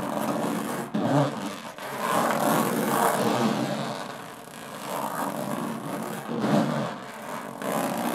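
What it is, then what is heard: Aluminum case, scratched. Long fingernails slowly scratch the textured metal lid of a small, hollow aluminum briefcase. The result is a continuous, raspy scraping that swells and fades in slow strokes, with a faint hollow resonance from the case.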